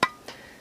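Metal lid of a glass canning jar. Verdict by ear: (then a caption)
Hollow. The metal lid of an unopened, home-canned glass jar is tapped twice, giving a sharp, hollow tap around 1 kHz with bright overtones, then a fainter second tap. The hollow sound suggests a possible bad seal.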